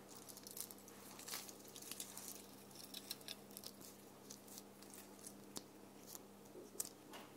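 A small round red ornament with a rough glitter or sequin-coated surface, held in the hand on a tree, is scratched with long painted nails. Quiet, bright, crackly scratching comes in many short bursts over a steady low hum.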